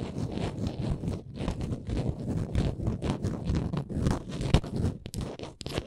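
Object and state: Small wooden ornament, scratched and tapped.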